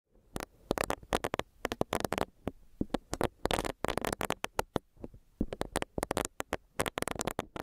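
A small, solid, pink bunny-shaped silicone facial cleansing brush with a soft bristle pad is held and tapped with long nails, and its bristles are rubbed against a microphone grille. The result is a rapid, uneven series of soft, dry, crisp clicks and scratchy brushing bursts that reach up into bright highs. Each sound stops instantly with no ring, over a quiet background.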